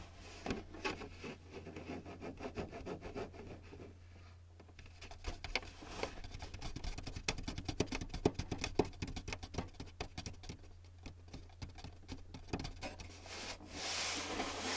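Fingertips and short nails tap and drum on the top front edge of the hollow casing of a white plastic Canon inkjet printer. The result is a run of quick, dry, hollow clicks and patters, some bunched into fast flurries, over a steady low hum. Near the end a brighter, breathy rush rises.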